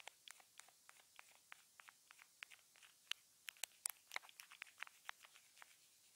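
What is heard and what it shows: A wooden stick taps and scratches along a small, hollow white plastic earphone remote with a mic hole, taped down with clear tape. It makes a quick, irregular run of about twenty dry, bright clicks and ticks with faint scratchy rustle between them. Each sound stops at once, with no low end and no ring.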